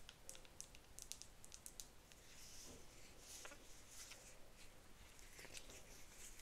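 Long nails tap and scratch the side of a medium-sized, light blue plastic Bubble gel cleanser bottle with an orange cap that appears full. Quick, bright clicking taps come first, then softer hissing scratches over a faint low rumble.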